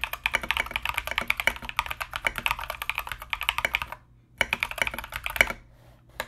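Both hands type continuously with their fingertips on a compact mechanical keyboard fitted with Mozano EVE switches and plastic Knight King SA keycaps. The result is a rapid stream of bright, crisp clacks with very short decay. The typing breaks off briefly twice before resuming.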